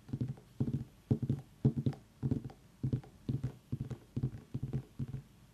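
Fingers tap on a pumpkin in quick, repeated bursts of several taps each, giving soft, low, hollow thuds with a short ring and almost no bright edge.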